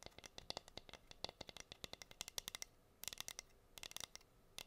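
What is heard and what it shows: Long nails scratch and tap the bare wood of a plain, flat, solid wooden heart-shaped cutting board. About thirty quick, dry, bright clicks and scrapes come in rapid bursts with short pauses between them. There is almost no ring and very little low end.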